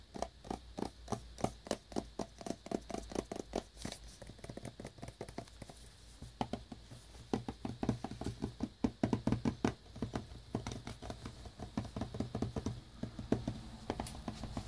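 A small black cardboard earbuds box, shrink-wrapped in cellophane and resting on a brown towel, is tapped and knocked with several fingertips. Many short, dry, muffled taps come in quick, uneven bursts, with a brief quieter stretch near the middle. Each tap is mostly low and dull with almost no ring and only a faint crinkly brightness from the wrap.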